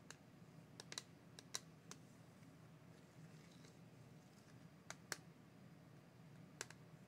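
A small clear plastic Crayola watercolor palette case with paint pans inside is held in one hand and tapped with the fingertips and nails of the other. About ten short, sharp, bright plastic taps come in loose clusters with quiet pauses between. A low, steady hum sits underneath.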